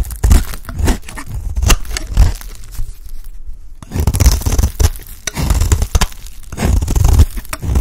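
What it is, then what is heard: Dry bar soap. A utility blade scrapes flakes off a dry, solid, light-green oval bar of soap held in the hand. Repeated dry, crunchy rasping strokes come in uneven bursts, with a brief near-silent pause just before the four-second mark. The scraping resumes and continues to the end.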